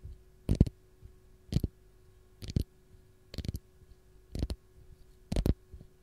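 Long gold nails scratch the peel of a single whole raw fresh lemon held in the hand. Six short, dull scratching clicks come about once a second, each a quick double tap with mostly low thuddy body and a brief bright edge, over a faint steady hum.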